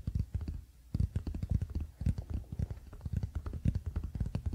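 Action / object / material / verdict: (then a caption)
tap / wooden paddle hairbrush / wood / none. A wooden paddle hairbrush lies flat on a blanket while the fingertips of both hands tap its solid wooden back quickly. The result is a fast, uneven patter of soft, dull, low thumps with almost no ring, broken by a brief pause early on.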